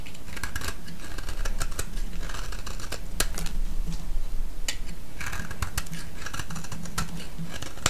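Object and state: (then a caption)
Bar of soap being shaved. A solid yellow, palm-sized bar of soap is held in the hand and shaved into thin curls with a utility-knife blade. Rapid, crisp scraping and cutting clicks with bright edges repeat throughout over a steady low hum.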